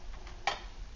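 Shaking brings a couple of faint ticks, then one clearer clink near 800 Hz that dies away almost at once. No liquid wash or slosh follows the movement, so the metal fuel canister has hardly any fuel left inside.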